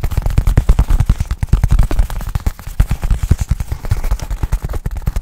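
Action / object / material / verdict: tap / nylon fabric bag / nylon fabric / none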